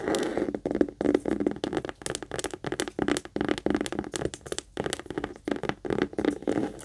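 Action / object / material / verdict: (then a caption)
tap / small leather heart-shaped purse / leather / none. Long acrylic nails rapidly tap and scratch the front face and top zipper area of a small, hollow pink saffiano-style leather Kate Spade heart-shaped purse held up in both hands. The result is an uneven stream of quick, dry clicks and scratchy rustles with a hollow, boxy mid-range body and short, crisp bright edges.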